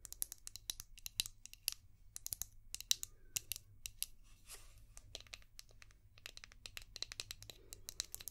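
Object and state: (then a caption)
Plastic shell-shaped brush. Long painted nails tap and scratch a palm-sized, translucent orange hard plastic brush shaped like a seashell with a ridged back. A quiet, rapid run of sharp, bright clicks mixes with brief scratchy rasps across the ridges. Each tap stops dead with almost no ring and very little low end.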